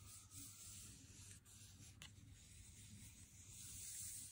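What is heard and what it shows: A full Lindt Excellence 90% cardboard chocolate box is held in hand and slowly rubbed with the fingertips. The result is a quiet, steady, bright scratchy rubbing hiss over a soft low rumble, with a couple of faint brief scrapes in the middle.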